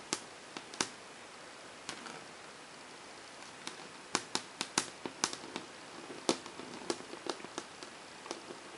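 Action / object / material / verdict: tap / melamine whiteboard under fingernails / melamine / none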